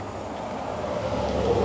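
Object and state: Nothing is struck.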